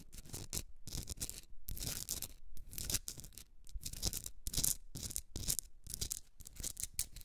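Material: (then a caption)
Rock salt. Long red nails scratch and tap a hand-sized Himalayan salt rock candle holder, a solid pink rock salt block with a rough crystalline surface, while it is held. The result is a steady run of bright, gritty scratching bursts mixed with short, dry taps and brief pauses between strokes.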